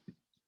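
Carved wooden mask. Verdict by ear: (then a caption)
Hard. A carved Indonesian wooden mask made of hard wood of an unknown kind, not soft, is knocked three times. The knocks are short, dry, and clip-clop-like, each with a quick low thud and almost no ring. The last knock is the sharpest and brightest.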